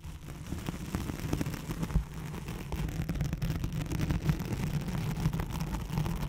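Long glossy nails scratch across the hooks of a thin white hook-side nylon hook-and-loop velcro sheet draped over a microphone, using both hands. A dense, continuous rumbling scratch sits mostly in the low range, with a steady hum near 156 Hz and quick crackling bursts throughout.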